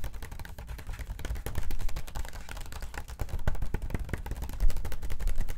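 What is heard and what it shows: Long acrylic nails quickly tap and scratch the pages of an open, thin glossy paper magazine lying on a table. The result is a dense, rapid stream of short, dry clicks and scrapes over a low, thumpy body. There is almost no ring, and the level swells louder in bursts.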